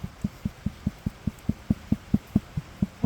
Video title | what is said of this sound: Handspinning for sock yarn, skirting Shetland fleece, another knitting project cast on (Episode 104) | that's kind of the Ping test to say it's healthy it's not breaking on me and this fleece is a go